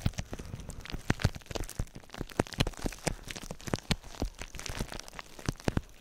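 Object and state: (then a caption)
Plastic bubble wrap being popped. Clear plastic bubble wrap laid over the microphone is squeezed and popped with fingers. A rapid, irregular run of sharp pops and crackles rings out, each snapping off quickly, with a heavy, close low thump beneath the crinkling plastic.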